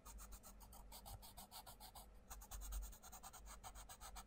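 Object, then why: Wooden coloured pencil on a paper colouring-book page. A wooden coloured pencil scratches and rubs across the paper mandala page of an open paperback colouring book while colouring. Quick back-and-forth rasping strokes with bright, papery texture continue steadily, pausing briefly midway, over a low steady rumble.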